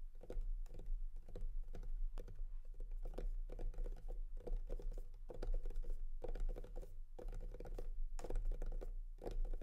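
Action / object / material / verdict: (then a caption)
tap / clear plastic display case / plastic / none. Fingertips and nails tap repeatedly on the clear plastic front panel of a hollow, pink-framed rectangular packaging case holding a Divoom Ditoo speaker. The taps come quickly and continuously as dense, clicky patters with a hollow, low body and short decays.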